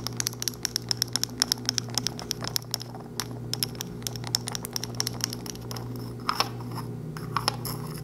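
A small, hollow pink plastic lipstick tube with a closed cylindrical cap is held in one hand close up and tapped and clicked with long white-tipped acrylic nails. Quick, sharp, bright clicks come in rapid bursts with a few louder taps near the end, each dying away almost instantly over a steady low hum.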